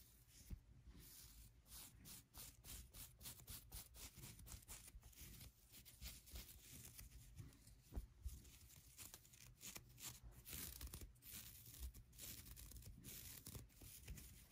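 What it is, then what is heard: Knit acrylic beanie. Long nails scratch and rub quickly over the ribbed fabric of a soft pink knitted acrylic beanie. The result is a quiet, continuous run of fast, dry, crackly scratches over a soft low rumble, with brief sharper spikes throughout.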